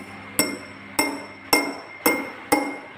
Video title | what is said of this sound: 4 Februari 2021 | gelas dipukul dengan sendok logam bunyinya terdengar kuat Ting Ting